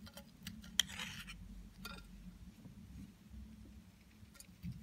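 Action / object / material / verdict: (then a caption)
scrape / bar of soap scraped with a blade / soap / none. A metal utility knife blade shaves and scrapes curls and flakes off a hand-sized, dry and hard, solid white Lux bar soap held in one hand. Quiet, bright, crisp scraping rasps come with one sharp click near the start, over a low steady hum.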